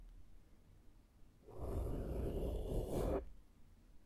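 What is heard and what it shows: A small flat makeup brush sweeps over the top and side of a black foam microphone windscreen. After a quiet start, a soft, dense scratchy rush sets in at about 1.5 seconds, heavy in the low end with a faint bright hiss, then cuts off at about 3.2 seconds back to near silence.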